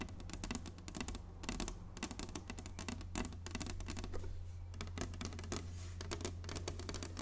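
Long nails tap quickly and lightly across the surface of a large, flat, inlaid wooden chessboard. The taps make a steady stream of sharp, bright clicks that die away almost at once, over a constant low hum.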